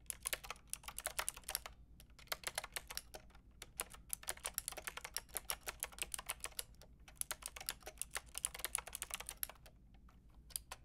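Continuous two-handed typing with long red nails on a Lofree plastic-framed mechanical keyboard with round keycaps produces a rapid stream of sharp, bright clicks and clacks. The bursts are broken by brief pauses, over a faint low hum.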